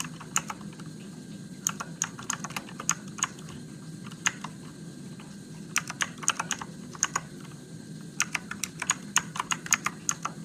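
Fingertips type slowly on a Motospeed RGB-backlit mechanical keyboard with plastic keycaps and blue switches. Dozens of sharp, bright clicks land in uneven bursts, each dying away almost instantly. A steady low hum runs underneath throughout.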